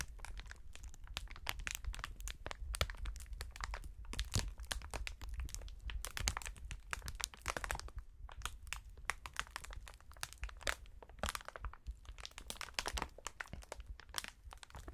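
A long, clear, light and hollow polyethylene strip of air-filled packing cushions is held in both hands in fingerless gloves and squeezed and kneaded. The film gives off a steady run of dense, bright crinkles and sharp little cracks over a low rumble, with short, dry sounds that stop quickly.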